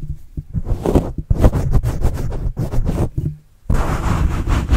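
A white plastic stylus tip writes and scratches across a black foam microphone windscreen held close to the mic, making a run of muffled, low, rumbling strokes and scrapes with little bright content. The scratching pauses briefly near the end, then resumes as a denser, steadier rub.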